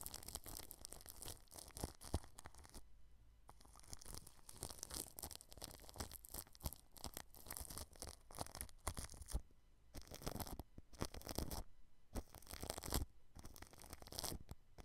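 A paintbrush brushes the grille of a white microphone wrapped in clear cling film, producing close, crackly, crinkling rustles with a bright papery edge. The strokes come in dense bursts separated by brief pauses.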